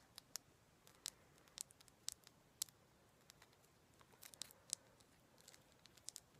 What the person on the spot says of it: I just really like that sound of the tapping on it.